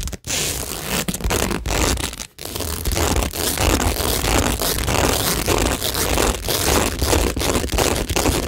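Long nails scratch and tap across a textured cork tingle board covered in plastic pearls and rhinestones. The result is a dense, continuous crackling scrape with a rumbling low end and a bright hiss, broken by brief pauses near the start and just past two seconds.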